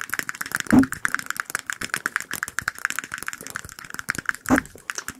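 A small, clear, hollow glass the size of a shot glass, held between the fingers in front of microphones, is tapped rapidly with fingertips and nails. It gives a fast stream of short, bright clicks with a light glassy ring near 1.7 kHz that dies away almost at once. Two heavier, lower taps stand out near the start and near the end.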